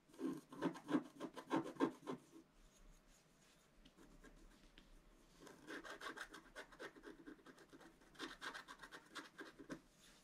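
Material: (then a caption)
Coated paper. A wooden stylus scratches small details into the right side of a black-coated scratch-art paper page, making quick, dry scratching strokes. A busy burst of strokes comes first, then a quieter stretch of faint scraping, then two more runs of lighter, rapid scratches.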